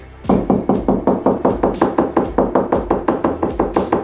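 A person knocks with their knuckles on a beige painted interior drywall (gypsum board), which is hollow with studs behind it, moving along the wall to find a stud by sound. About 21 quick, evenly paced hollow knocks are heard, each a short thud around 200 Hz with a fast decay.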